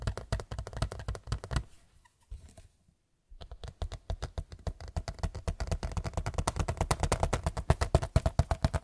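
A large white picture frame is tapped rapidly with the fingers, making dull, low, thumping knocks that die away almost instantly. The tapping fades to near silence for about a second around the three-second mark, then resumes and grows denser and louder through the end.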